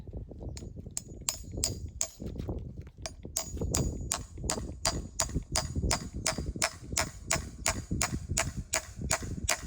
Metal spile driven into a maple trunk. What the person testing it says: The sound got really deep. That's a good sign that we're in the right spot.